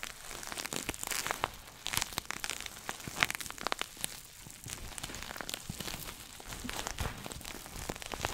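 Fingernails scratch and tap across the crinkly surface of a small red glossy coated-nylon shoulder pouch bag. Dense, bright crinkling and crackling scratches are punctuated by short, sharp taps that die away instantly, all at a soft, close level.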